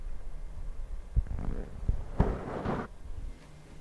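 Fingertips of both hands cupped over the black foam windscreen of a Zoom recorder rub and tap it, producing muffled, low rumbling and scratchy friction. Several sharper, thudding taps stand out from the continuous rubbing before it settles into a quieter rustle.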